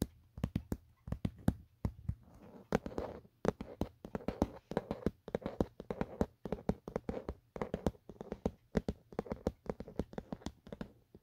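Fingertips tap around the back, camera cutout and edge of an empty, hollow black Otterbox plastic phone case. A quick, uneven series of short, dry clicky taps with a hollow low-mid knock, each dying almost instantly. Brief soft scratchy rustles sit between some taps.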